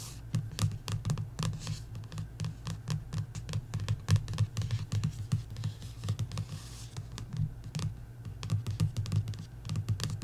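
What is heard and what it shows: Long nails tap and scratch along the lower edge of the back card cover of a paperback coloring book. Rapid, irregular light taps mix with short scratching strokes, each with a soft, low, hollow thump that dies away almost at once. The sound stays quiet and steady throughout.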